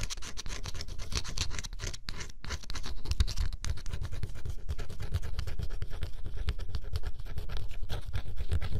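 A thin stylus scratches the black coating off a flat cardboard scratch-off jigsaw puzzle, exposing blue beneath. Quick, dry, irregular scratching strokes run continuously, growing slightly louder partway through, with a soft, dull low-end weight.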